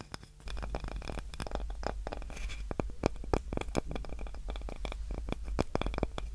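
A small, light, solid wooden cutting board with a handle is scratched and tapped with long nails. Rapid, dry, close-up clicks and scrapes crowd together over a low, steady rumble, each tap cutting off almost at once with no ring.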